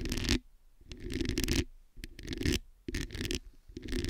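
Long nails scratch and tap the hollow metal mesh head of a black microphone. Bursts of gritty scratching carry a deep, rumbling low end and bright hiss, separated by short quiet gaps.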